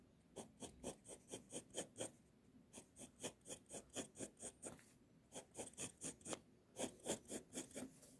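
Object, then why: Pencil lead on a sheet of drawing paper. The tip of a pink mechanical pencil traces and scratches lines along a flat white sheet of drawing paper bearing a robe sketch. About 23 quick, bright rasping strokes come in uneven bursts with short pauses between them. Each stroke is dry and soft and ends at once.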